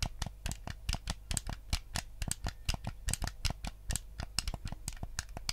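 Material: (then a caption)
Plastic. Fingertips tap and click the buttons of a white, hollow plastic Nintendo GameCube controller held up close, and scratch across its surface. The result is a quick, uneven run of short, dry, bright clicks and taps over a faint, steady low hum.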